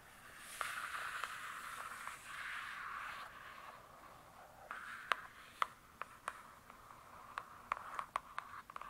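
Long nails scratch across the glossy cardboard cover of a large, closed hardcover book, making a soft, papery scraping hiss for the first few seconds. They then tap the cover in 13 sharp, dry clicks with almost no ring. The sound stays quiet and centered in the midrange, with very little low end.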